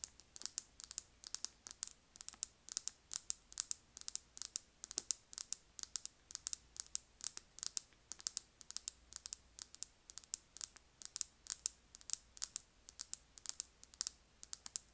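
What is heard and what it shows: Long nails tap and scratch the flap of a small-to-medium, hollow, coral pink quilted faux-leather purse. A steady, rapid run of crisp, bright clicks and short scratchy bursts follows, sitting almost entirely in the high frequencies with barely any low end. Each sound stops dry, with no ring.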